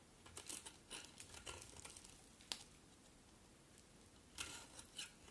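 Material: Soap.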